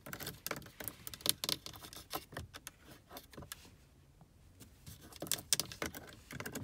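Long acrylic nails tap and scratch a dashboard air vent beside the steering column, a small hollow dark plastic housing with thin plastic louvers. Quick, bright, dry clicks and scrapes come in irregular bursts, with a quieter scratching stretch in the middle before the tapping picks up again.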